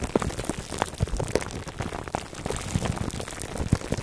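Fingertips and nails scratch the sides of a foam microphone cover wrapped in clear plastic, close up. Dense, irregular crinkles and soft pops patter like rain on a surface, with a muffled, low-heavy body and short, dry clicks that die away almost instantly.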